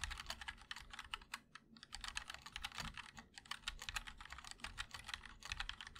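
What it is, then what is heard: Mechanical keyboard, aluminum case with plastic keycaps. A 60% mechanical keyboard with an aluminum case, plastic keycaps and linear switches is typed on continuously with both hands' fingertips. The result is a rapid, uneven stream of short, bright clacks with very little ring, pausing briefly around the middle before resuming, over a faint low hum.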